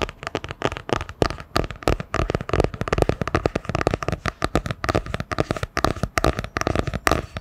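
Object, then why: Hardcover book with cardboard cover. A solid hardcover book with a printed striped cardboard cover is held sideways in front of the mic and tapped quickly with long nails. The result is dozens of rapid, dry, clicky taps with a hollow low-mid thud, each dying away almost instantly in a steady, busy rhythm.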